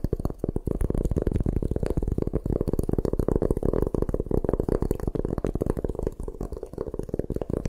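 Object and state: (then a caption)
Gym chalk block. A solid white gym chalk block held in the hands is scratched and tapped with long nails. The result is a dense, continuous run of quick, dry ticks and scrapes, weighted low and dull with little bright content.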